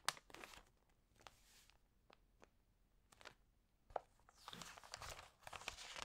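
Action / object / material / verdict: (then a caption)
scrape / glossy paper magazine pages / glossy paper / none. Fingers with long nails rub and turn the glossy pages of an open paper magazine. The result is quiet, bright crinkling and rustling, punctuated by sharp ticks and page flips. Louder sweeping swishes come near the end.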